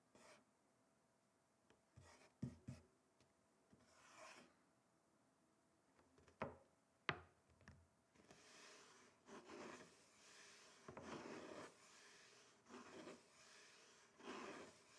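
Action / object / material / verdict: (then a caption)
scrape / wooden chopping board / wood / none. Fingertips and nails scratch and trace across a flat, solid, rectangular wooden chopping board while both hands rest on it. The first half is quiet, with short dry scrapes and sharp clicks; from about eight seconds on, it becomes a steady, bright, raspy scratching that swells and fades in strokes.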